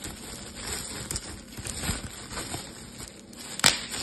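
A clear plastic bubble wrap sheet is handled and twisted with both hands, giving a steady bright crinkling with scattered soft crackles. A few sharp pops of bursting bubbles stand out, the loudest one near the end.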